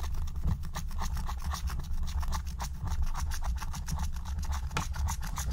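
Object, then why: Scratch-art coated paper sheet with wooden stylus. A wooden stylus rubs and scratches the coating off a thin, black-coated scratch-art card lying flat. Quick, repeated back-and-forth strokes make a steady dry rasp with bright scratchy edges over a dense low rumble.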